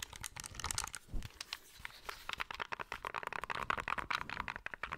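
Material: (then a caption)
Plastic. Fingertips and nails tap the back and sides of a small, hollow, grey plastic handheld game console. A rapid, uneven run of dry, clicky taps and scratchy crinkles is heard, with a bright edge and a hollow plastic tone around 1 kHz. Each tap dies away almost instantly.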